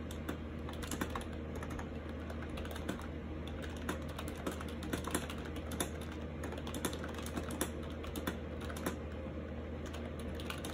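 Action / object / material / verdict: tap / plastic keyboard keys / plastic / none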